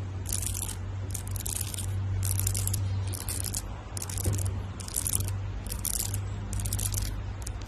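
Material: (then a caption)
Amethyst. A hand-sized amethyst geode cluster of solid stone, held in one hand, has its rough purple crystal face scratched and tapped with long white acrylic nails. Repeated short bursts of bright, crisp scraping and clicking rise and fall over a steady low hum.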